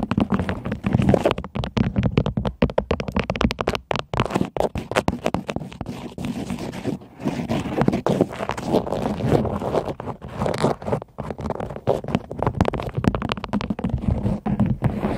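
Long acrylic nails tap rapidly on the hollow orange plastic air-cushion heel and mesh upper of a white Nike Air Max 270 sneaker held sideways. The result is a dense, continuous run of short, dull, low-pitched clicks and soft scratchy taps with almost no ring.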